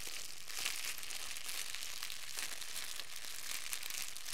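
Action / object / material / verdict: scrape / thin clear plastic wrap / plastic film / none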